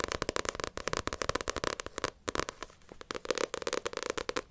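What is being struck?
Paperback book with glossy cover.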